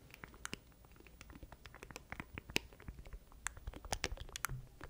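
Fingertips tap and scratch across the surface of a small black plastic stream deck controller with button keys, held in both hands beside a microphone. The result is a quiet, irregular run of rapid, dry, clicky taps and light scratches with bright, crisp transients over soft low thuds, each hit dying away almost instantly.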